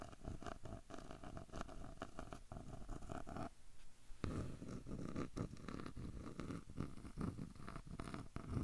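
Fingertips scratch and tap the light wooden edge of a small square frame with a dark centre, held at an angle close to the recorder. The result is a dense, low, purr-like rasp of rapid scratches and soft taps, thinning briefly in the middle before continuing.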